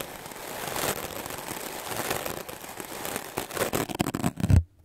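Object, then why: Melamine foam sponge. A solid white melamine foam magic eraser is brushed aggressively with a wooden clothes brush, giving a continuous dry, scratchy rasp that slowly builds in loudness. Toward the end the strokes turn into sharper, louder scrubbing bursts with a low thump, then the sound cuts off abruptly into near silence.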